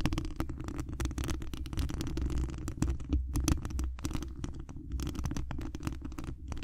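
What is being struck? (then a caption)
Wire mesh microphone grille. Long acrylic nails on both hands scratch the hollow mesh wire dome grille of a large condenser microphone. This produces a steady, boomy low rumble with a dense stream of quick, dry scratching clicks that flick up into the highs. The texture stays continuous and muffled throughout.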